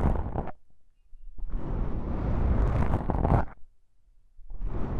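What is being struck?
Foam microphone windscreen.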